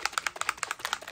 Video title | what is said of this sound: Snow cap vs no snow cap, a demo showing the difference with this unique mixative | you wanna shake it until you hear that metal ball